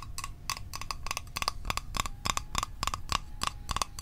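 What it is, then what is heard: Small metal mint tin. A small, hollow metal Altoids mint tin is tapped quickly with fingertips and nails on its lid and sides. The result is a rapid run of short, bright metallic clicks with a brief ring near 1.1 kHz, over a faint low rumble.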